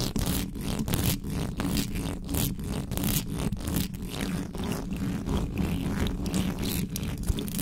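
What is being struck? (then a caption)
Metal mesh microphone grille. Long nails of both hands scratch fast along the sides of a hollow metal mesh microphone grille. The result is a dense, continuous stream of rapid, harsh scratching bursts with a heavy low rumble underneath and brief bright edges on each stroke.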